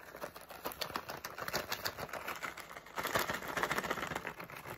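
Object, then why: Flexible plastic pouch with candies. A medium, flexible plastic SweeTARTS candy pouch with candies inside is held in the hands while fingertips crinkle, squeeze and shake it. The result is a dense, fast stream of crisp plastic crackles and light candy rattles, growing louder and brighter about halfway through.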